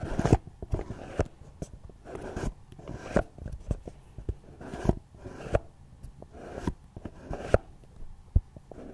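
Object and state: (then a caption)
Cardboard gift box. Fingertips and long nails scratch and tap the sides and lid of a small, hollow, red floral cardboard gift box resting on a tablet. Soft, papery scratching bursts alternate with a string of sharp, dry taps that die away almost instantly, with a hollow, low-heavy body.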